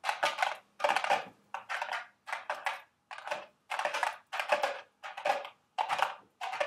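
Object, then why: Small cardboard candy box. Long red nails tap and scratch the walls of a small carton-shaped cardboard Dubble Bubble gum Easter eggs candy box resting on a table. Quick papery clicks and scrapes come in short, uneven bursts, with a dry, mid-toned body around 770 Hz, bright edges, and almost no ring.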